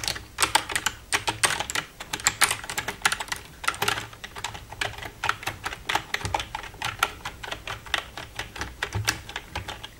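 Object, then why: Plastic computer keyboard. Long red-painted nails tap and type on the keys of a black plastic full-size computer keyboard with a silver frame. Dozens of quick, bright plastic clicks come in uneven bursts with very short ring. There is little low end beneath them.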